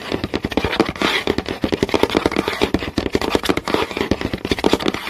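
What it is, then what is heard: Wooden board. Several fingernails tap fast on a flat, solid wooden board with visible grain, giving a dense run of short, dry clicks. The clicks have a woody knock around 400 Hz, a little brightness on top, and almost no ring between taps.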